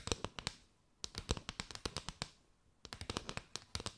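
Long nails tap and scratch quickly along a mat of hollow, chevron-patterned paper straws curved over the mic. Crisp, bright clicks with a hollow, papery body come in three quick bursts separated by short pauses, each tap dying away almost instantly.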